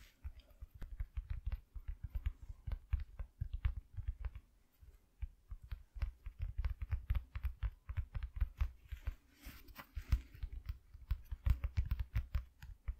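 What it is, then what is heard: Cardboard piece. Fingers tap rapidly on a piece of cardboard cut from an empty shoe box, making a long run of soft, dull, low thumps that die away almost instantly. The tapping comes in quick bursts with brief pauses between them and stays quiet throughout.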